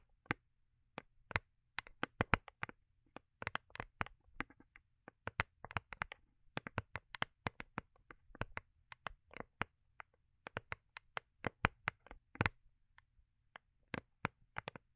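Long acrylic nails tap and scratch the underside of a small, hollow, rigid cardboard gift box covered in holographic foil paper, held in the hands. Quick, irregular bursts of sharp, dry clicks reach into the bright highs and die away instantly, mixed with soft scratching over a faint low hum.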